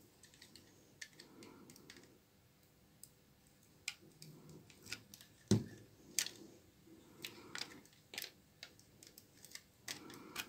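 A small blade scrapes and cuts flakes along the side of a long, solid bar of dry, old brown laundry soap held upright in the hand. Quiet, rough scraping rustles are broken by irregular crisp clicks and snaps with bright edges, each dying away almost at once.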